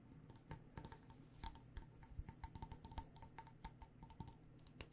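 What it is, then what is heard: Glass mason jar of loose tea. Fingernails tap quickly on the glass sides of a mason jar full of loose tea, topped with a fabric-wrapped metal lid. The result is a rapid, irregular run of short, dry clicks, each with a bright, high glassy ping and almost no ring, over a faint low hum.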